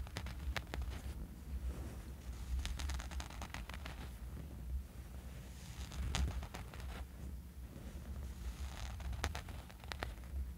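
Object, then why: Fabric sleep eye mask. Fingernails scratch across the surface of a small, dark fabric sleeping eye mask lying on a sheet. The result is a soft, continuous rustling scrape over a low rumble, broken by repeated sharp, bright scratch strokes.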